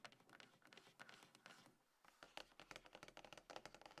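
Long nails and fingertips of both hands tap on a small, hollow, closed dark grey cardboard iPhone box resting on a table. The result is a quick, quiet run of dry, bright clicking taps with little low end and almost no ring, pausing briefly near the middle before resuming.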